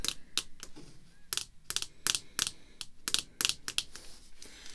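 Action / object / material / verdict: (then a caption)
tap / rigid clear plastic card holder / plastic / none. Long red fake nails tap on the surface of a small, flat, clear rigid plastic holder with a dark border and a baseball card inside. Fourteen sharp, bright clicks come in an uneven rhythm, each dying away almost instantly with little low-end body.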